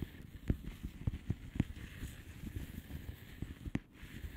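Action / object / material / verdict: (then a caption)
tap / plastic bubble wrap envelope / plastic / none. Long polished fingernails tap slowly on a flat blue plastic bubble wrap envelope. The short, dull, low taps die away almost instantly, with four sharper taps standing out among softer ones over a quiet background.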